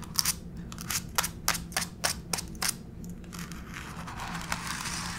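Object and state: Laminate floor tapped with fingernails.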